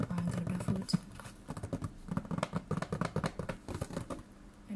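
A hollow, dark brown and red printed cardboard chocolate box with a packaged product inside is held in one hand and tapped and scratched with the fingertips and nails of the other. It makes a quick, irregular run of dull, low, hollow taps with a short dry decay, mixed with soft scratching.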